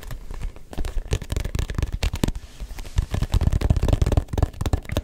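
Fingertips tap quickly and irregularly on a hand-sized, hollow, neon yellow-green rubber ball with a textured, grooved surface. The result is a dense stream of short, dull, low thumps with almost no ring, mixed with a faint crackly texture.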